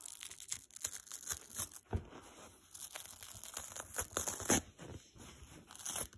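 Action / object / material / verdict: scrape / foam sponge with nylon scour layer / foam / none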